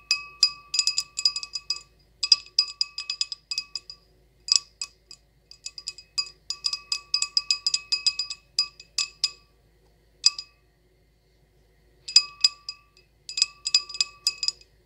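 A decorated wine glass is tapped and scratched, giving rapid bursts of bright, chime-like clinks with a high pitch. The clinks die away almost instantly and come in irregular clusters separated by short pauses.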